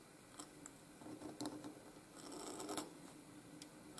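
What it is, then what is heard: Steel nib scratching paper. A pointed steel Hunt 101 nib in a wooden holder scratches ink strokes across a flat sheet of white grid-lined Canson paper lying on a desk, in continuous writing motions with the nib staying on the paper. Quiet, dry scratching is broken by short, bright ticking clicks as the strokes catch. A low hum of background noise runs underneath.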